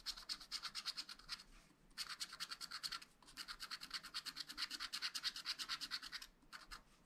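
Flat black scratch-art paper in a spiral pad, held still, is scratched with a wooden stylus in dense back-and-forth strokes. It makes a fast, bright, raspy scraping in rhythmic bursts, with short pauses between runs of strokes.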